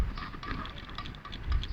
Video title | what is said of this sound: avanza bunyi ketukan ketika memandu.. punca dan solusi | Dia ada pre. Jadi dia akan menghasilkan ketukan bila langgar lubang.